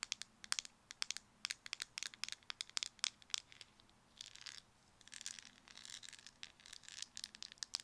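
A small, round, white plastic cosmetic jar with a black lid is held in both hands while fingernails tap rapidly on the lid, making sharp, bright clicks with almost no ring. Later the jar is shaken, producing softer rattling, rustling bursts between the taps.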